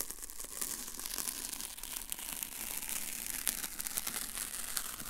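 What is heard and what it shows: A long strip of thin white paper masking tape is held up while its end is pinched and rubbed between the fingertips. It makes a steady, dense crinkle with sharp, bright rustling crackles and light tearing-like rasps, and a softer low rustle under it throughout.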